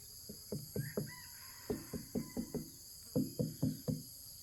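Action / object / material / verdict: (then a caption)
knock / jackfruit / fruit / hollow. A ripe, harvested jackfruit lying in a wheelbarrow is knocked on in three quick bursts of about three, five and four dull, low knocks, each a short, hollow thud. A steady, high-pitched chorus of crickets drones underneath throughout. The hollow knock marks the fruit as ripe rather than young and solid, though the wheelbarrow colours the sound somewhat.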